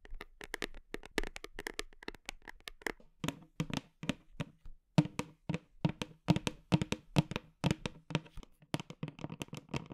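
Long nails tap rapidly and irregularly on the plastic side of a large black whey protein tub with a red band as it is held and rotated. Each tap is a short, dry click over a hollow, low thud that dies away almost at once.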